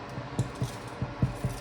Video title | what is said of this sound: MY BEST BREAD RECIPE YET - Onion, garlic, coriander loaf! | If it sounds hollow, then it's done. Actually, does sound hollow.